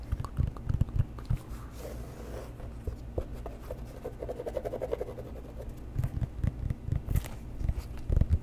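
A leather boat shoe is held upside down with its rubber sole facing the microphone while fingertips and nails tap and scratch the sole. The result is close, muffled low thumps and soft scratchy patter over a steady low rumble, with little high content and no ring after each tap.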